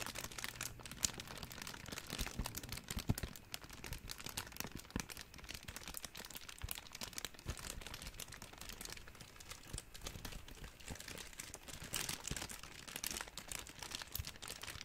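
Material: Plastic film.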